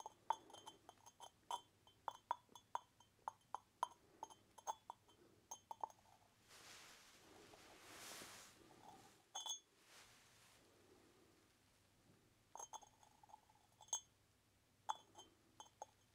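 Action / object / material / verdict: tap / unglazed clay pot with lid / terracotta / none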